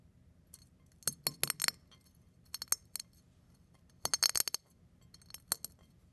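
A fingertip presses down on larger brown eggshell pieces lying beside a pile of eggshell flakes on a plate, crushing them. Short, bright, brittle crackles and clinks come in quick clusters, each snap dying away almost instantly over a quiet background.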